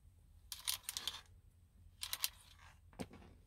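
Long painted acrylic nails and fingertips tap and scratch the hard plastic airbag cover, with its chrome logo badge, on the centre hub of a car steering wheel, which is fixed in the car and hollow behind. Three bursts of quick, bright clicking and scratchy rasps stand out from a quiet low hum, each tap dying away almost instantly. The last burst ends in a sharper single knock with a bit more low body.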